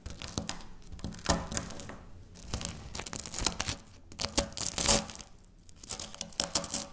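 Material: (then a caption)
Wafer. Dry wafer biscuit chunks are crumbled and broken by fingertips and long nails on a stone countertop. Many quick, bright crunches and tearing crackles come in irregular bursts. The fragments break apart with short, dry snaps that die away almost instantly.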